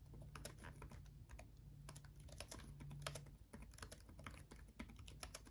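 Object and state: Plastic laptop keyboard being typed on.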